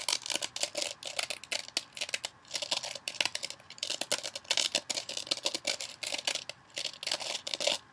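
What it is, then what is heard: Foam kitchen sponge with scouring layer. Long nails scratch the surface of a hand-sized rectangular kitchen sponge, a blue scouring pad on a soft foam body, held above a bowl. A fast, uneven run of crisp, dry, bright scratching bursts comes in clusters with brief pauses, with almost no low end and no ringing after each stroke.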